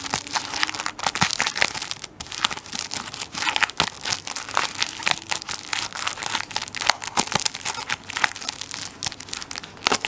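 A plastic-wrapped tissue paper roll is held sideways while fingertips and nails scratch the plastic film over its end. Bright crinkling and scratching fill the whole clip with dense, sharp crackles and little low end, plus a faint low hum drifting in and out.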